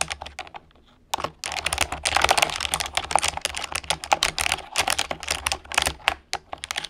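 Fingertips and long painted nails type rapidly on a full-size orange plastic computer keyboard with hollow key switches, resting on a wooden desk. A steady stream of sharp, bright clicks and clacks stops briefly near the one-second mark, then resumes dense and uneven. Each keystroke cuts off instantly over a faint low hum.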